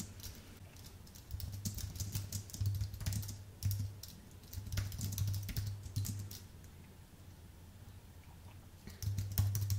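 Fingertips of both hands type steadily on a thin, white Apple full-size keyboard with a solid aluminium base and plastic keys. Bursts of quick, bright key clicks come and go with quieter gaps between them, over a steady low hum.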